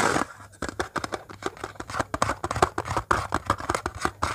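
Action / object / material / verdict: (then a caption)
tap / embossed metal cookie tin lid / metal / none. Fingernails scratch and tap across the embossed surface of a round metal "Wonderful Copenhagen" cookie tin lid held in the hands. A quick string of short, dry clicks and scratchy scrapes follows one after another, each dying away almost at once with no ringing.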